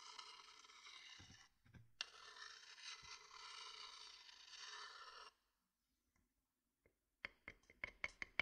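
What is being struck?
Wooden bowl and wooden stick.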